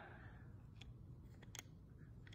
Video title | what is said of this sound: Mindblowing puzzle: Think out of the box/ A puzzle's solution which you would seldom guess! | i'm holding these pieces completely stable that's something inside of there